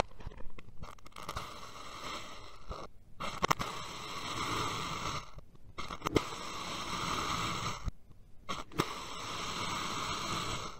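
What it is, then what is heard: Kinetic sand being sliced. A steel knife blade cuts vertical slices through a solid dome of purple kinetic sand. Each slice makes a soft, gritty crunching scrape with a few sharper ticks, broken up by brief quiet pauses between passes.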